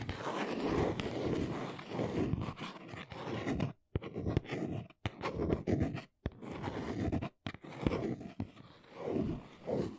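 Long acrylic nails scratch the corner and sides of a small brown cardboard box standing on its end. The result is a dry, papery scratching in short bursts with brief silent gaps, mostly in the low and middle range.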